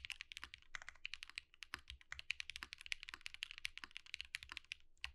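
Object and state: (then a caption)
Mechanical keyboard with plastic keycaps. A compact Think6.5 V2 mechanical keyboard with Zakus and white plastic keycaps is typed on steadily with the fingertips of both hands. About 37 dense, rapid key presses make crisp, bright clacks centered near 2.5 kHz, each dying away almost instantly with little low-end thud.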